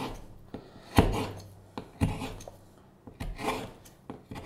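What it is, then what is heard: Wooden spoon blank being carved. A steel hook knife scrapes and cuts into the bowl of a solid light-wood spoon blank with a curved handle, held up in the hand. The result is an irregular series of short, rasping, woody scrapes and sharper cutting strokes, each fading quickly, with a low body under faint high hiss.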